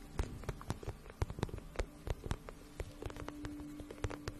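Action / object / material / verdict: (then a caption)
tap / patent vinyl pouch / vinyl / none. Long painted nails tap and scratch a medium, flat, pink pencil-case-style pouch of shiny patent vinyl, held in both hands; the pouch is hollow and looks empty. A quick, uneven run of soft, dull taps with short scratchy strokes in between, mostly low and hollow-sounding, with each tap dying away almost at once. A faint steady hum runs underneath in the second half.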